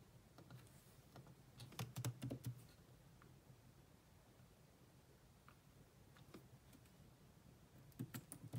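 Both hands type on a grey laptop keyboard with black plastic keys, using long nails and fingertips. Soft, dry plastic taps with a low thud and bright clicky edges come in uneven bursts, loudest around two seconds and again at the end, with a quieter stretch of light tapping in between. Each tap dies away almost instantly.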